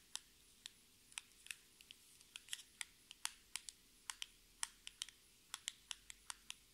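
A small, hollow, orange printed cardboard lipstick box is held in both hands and tapped and scratched with long red acrylic nails. About 25 quiet, sharp, bright clicks are heard at an unhurried, irregular pace over about seven seconds. Each click dies away almost instantly and has almost no low end.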